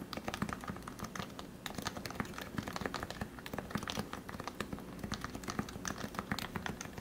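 Fingertips type steadily on the white plastic keycaps of a compact Leopold FC660C keyboard with lubed 45g Topre switches. The result is a quick, continuous run of soft, muted keystrokes: rounded, low clacks that die away almost at once, with faint brighter ticks on top.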